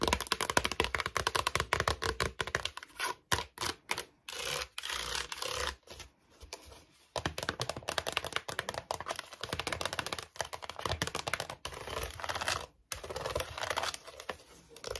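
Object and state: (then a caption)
Plastic storage basket. Long nails tap quickly and sharply on a small, white, hollow plastic storage basket with slotted sides, empty apart from a paper label. They start on its base, then move to its inside and rim. The taps are dry, rapid and clicky with short pauses between bursts.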